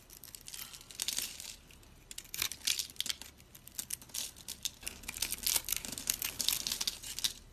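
A utility knife blade scrapes and cuts a dry, solid, hand-sized green soap bar held in the hand, pre-scored into cubes, so crunchy soap cubes break off. The result is a dense run of bright, dry crunching and crackling bursts with almost no low end and no ringing after each snap.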